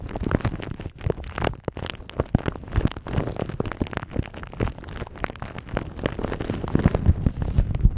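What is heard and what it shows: A thin clear plastic bag wrapped around a microphone is rubbed and crinkled by fingertips and nails. The result is a dense, continuous crackling with many quick pops and a deep, bass-heavy rumble close to the mic.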